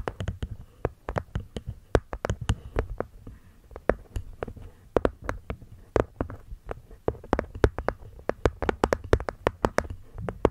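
Long nails tap and scratch the cork top panel of a small, hollow hexagonal light-wood box. The result is a rapid, irregular run of short, dull, muffled taps with soft scratching between them. Each tap has a low hollow thump and dies almost instantly with no ring.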